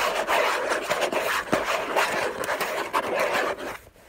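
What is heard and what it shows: Fingertips and nails scratch the lid of a hollow orange cardboard gift box covered in textured paper. The result is a dense, raspy scraping with bright hiss and a hollow midrange tone, broken by a few sharper scratches. It fades out near the end.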